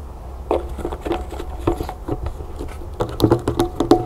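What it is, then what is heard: Plastic lotion bottle. Long nails tap quickly on the silver cap and body of a medium white plastic lotion bottle with a berry label, partly full, held and tilted. The result is a fast, irregular patter of short, dry plastic clicks with a faint hollow tone that dies away almost instantly.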